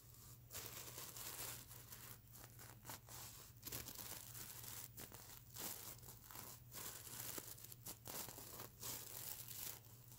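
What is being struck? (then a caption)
Plastic sequins on a stuffed fabric pillow. Long nails on both hands scratch and brush the plastic sequins of a stuffed fabric mermaid unicorn sequin plush pillow. Bright, crinkly scratching and rustling bursts come with brief quiet gaps, over a steady low hum.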